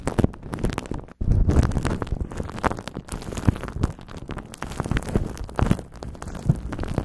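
Crumpled aluminum foil wrapped around a handheld microphone-sized shape is squeezed and rubbed with the fingertips of both hands, making dense, continuous crinkling and crackling with a heavy, muffled low rumble underneath. The sound cuts out briefly just after the first second, then resumes as steady rustling with scattered sharper crackles.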